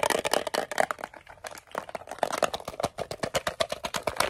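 A small, closed, hollow green metal Altoids mint tin is gripped in both hands and tapped fast with fingernails on the lid, sides and edge. About 26 sharp, dry clicks come in quick, uneven bursts, with a thin tinny ring around 645 Hz and bright, high ticks. Each tap dies away almost instantly.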